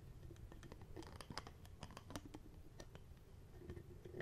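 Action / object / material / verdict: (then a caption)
tap / small plastic bottle with cap / plastic / none. A small, hollow, apparently empty clear plastic bottle with a black cap is held close to the mic while its cap and lid are tapped and handled with the fingertips. Quiet, quick plastic taps and light scratchy clicks with brief bright ticks sound over a soft low rumble, each tap dying away almost at once.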